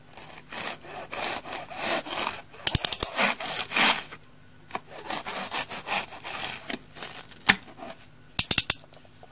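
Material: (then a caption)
Polyurethane foam. An orange utility knife blade is drawn repeatedly through a single small, rectangular orange dry polyurethane foam kitchen sponge, porous and solid, resting on a wooden table while fingers with long nails hold it steady. Dry, bright rasping sawing strokes are heard, broken by a few sharp, crisp snaps where the blade slices through the foam.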